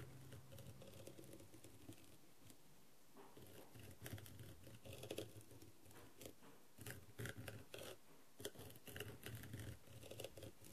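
A wooden skewer scratches and taps across the gem surface near the eye holes of a blue, rhinestone-covered plastic masquerade mask with gold trim. Quiet, dry, scratchy patter and small clicks come in irregular clusters, with slightly louder bursts of taps that stop almost instantly over a low, dull background rumble.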